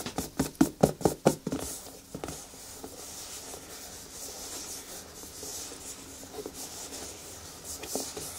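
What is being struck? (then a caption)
Rubber boot. Long nails and fingertips scratch and rub the smooth toe of a single black natural rubber boot, hollow and empty, held lying on its side. A quick burst of sharp, squeaky scratches opens the clip, then settles into a steady, bright, hissing rub that swells slightly near the end.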